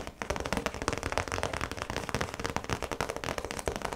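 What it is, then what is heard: Clear plastic zip pouch. Long pointed nails tap and scratch on the clear plastic face of a round zip pouch with yellow trim, lying flat. A rapid, steady run of sharp, dry clicking taps rises over a continuous crinkly scratching, bright and crisp with little low end and no ring after each tap.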